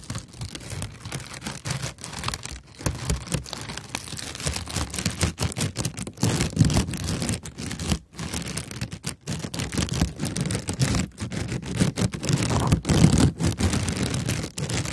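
A sheet of brown kraft honeycomb packing paper, held in both hands, is scratched with long nails and crinkled. The result is a dense, irregular stream of crisp crackles and papery rustling with a full low body, broken by a few brief pauses.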